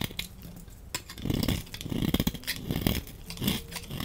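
A utility knife blade scrapes shavings and chunks off a solid, dry, orange embossed laundry soap bar held in the hand. Irregular, crisp scraping and crunching cuts overlap, with dull low body under a bright, rasping edge and almost no ring after each stroke.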